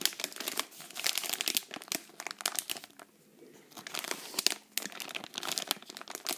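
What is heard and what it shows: A sealed green Pepero inner wrapper made of foil-lined plastic, holding stick snacks, is squeezed and crinkled between the fingertips and long nails of both hands. Bursts of bright, crackling crinkles come in rapid flurries, with a brief quiet pause near the middle before the crinkling picks up again.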